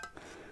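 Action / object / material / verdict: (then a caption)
tap / metal keel of a small wooden model sailboat / metal / none. Two light taps on the heavy metal keel of a small wooden model sailboat, each giving a bright clink. A clear ringing tone near 1.6 kHz carries on through the rest of the half-second, making a nice sound.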